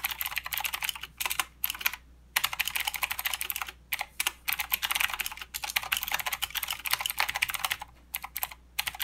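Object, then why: Mechanical keyboard with plastic keycaps. Both hands type with their fingertips on a full-size mechanical keyboard with plastic keycaps and blue clicky switches. Bright, sharp clicks come in fast bursts with short pauses between runs, and each keystroke dies away almost at once.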